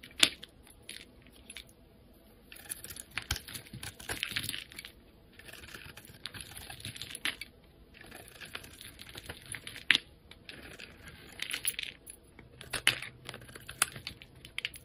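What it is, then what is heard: Bar of soap being shaved. A utility knife blade shaves thin layers off a solid yellow oval bar of soap held in the hand. Bright, crisp scraping bursts come in several passes, with sharp little clicks scattered between them and short quiet gaps.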